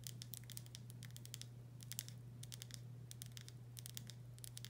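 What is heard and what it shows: Long nails tap and scratch the body of a full glass pickle jar with a paper label, making quick, bright clicks and scrapes in clustered bursts. A steady low hum runs underneath throughout.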